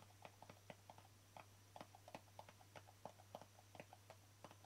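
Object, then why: Small plastic jar with embossed lid. Fingertips and nails tap the embossed lid of a small, hollow white plastic jar with a green label, making quick, light, hollow clicks with a mid-range knock and very short decay. The taps come in an irregular rhythm over a faint, steady low hum.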